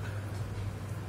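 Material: Nothing is struck.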